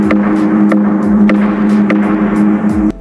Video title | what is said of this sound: GUA SIREH ADA KEPALA SINGA ?? | Kalau kita ketuk gong ni bunyi sebiji macam gong.